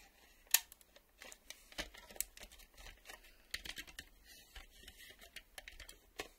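Fingernails tap the edge of a black plastic VHS cassette, then move to its ribbed side with the reel windows. The result is a quiet series of sharp, bright, clicky taps with a crisp, dry texture, one louder tap near the start, and almost no low end or ring after each hit.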